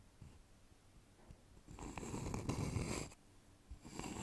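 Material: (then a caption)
Wood. A polished, hollow wooden bowl with visible grain is held upside down over the microphone while fingertips and fingernails scratch and tap its outer wall. After a quiet start with a few soft taps, a louder stretch of dense, scratchy friction builds with a deep hollow rumble and bright hiss, then stops briefly before resuming near the end.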